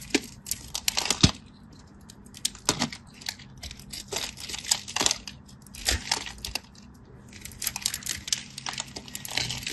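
A solid teal-and-white striped bar soap is scored in a grid with a craft knife, and cubes break off. Crisp, bright scraping and crackling come in irregular bursts of short, dry clicks and snaps, separated by quieter pauses.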